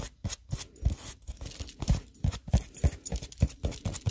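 An unwrapped, hand-sized, milk-bottle-shaped squishy of solid polyurethane foam with a painted surface is held up in the hands and tapped and scratched with long nails. Rapid, uneven soft taps give dull low thumps mixed with bright, scratchy rasps. Each sound dies away almost instantly.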